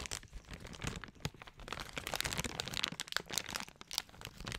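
A large printed plastic Equate cough drop bag, partly full, is held in both hands and crinkled and scratched with long acrylic nails. Dense, bright crackling and crinkling rustles run throughout with sharp little snaps and no ring-out, ending with a louder crisp crackle.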